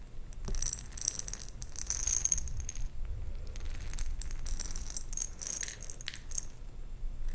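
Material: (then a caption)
Plastic, glass. A round glass jar with a metal lid, partly filled with plastic perler fuse beads, is held in one hand and shaken and tilted. The beads rattle against the glass in dense bright clicks with a sharp ringing tone, coming in several bursts over a low rumbling background.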